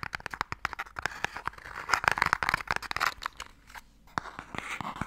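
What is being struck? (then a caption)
Small wooden box tapped and scratched with fingernails. Fingernails tap quickly and scratch across the lid of a small, hollow wooden Mikado box held upright. Sharp, dry clicks come in rapid bursts, mixed with a bright, crinkly scratching that swells in the middle. The tone sits in a hollow midrange around 1.5 kHz, with very little low end and almost no ring after each tap.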